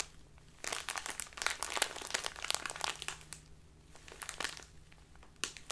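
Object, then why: Small plastic bag of loose tea. A small labeled plastic bag full of loose tea is rotated and crinkled with fingers and long nails. The result is dense, bright crinkling and crackling in irregular bursts that rise and fall, busiest in the first half, with quieter rustling between and a final sharp crackle near the end over a faint low hum.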